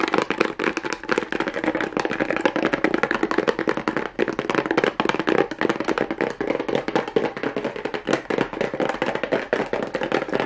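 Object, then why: Small cardboard box with a plastic rhinestone strip. Fingernails tap and scratch rapidly over a small hollow kraft cardboard box fitted with a pink plastic rhinestone mesh strip. The result is a dense, continuous stream of quick, dry clicks and scrapes that die out almost instantly, centered in the midrange with very little low end.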